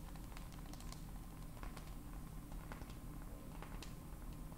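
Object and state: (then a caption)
Glass smartphone tapped with nails. A dark smartphone with a glass screen and hard casing is held and tapped with long acrylic nails on its screen and back. Quick, light clicking taps come in a loose, uneven rhythm over a steady low hum, staying quiet throughout.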